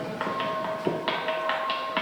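A large volcanic-rock lithophone in southern Gran Canaria is struck repeatedly in a quick series of hits out in the open. Each strike rings with a bell-like metallic tone and steady, sustained overtones that blend between blows.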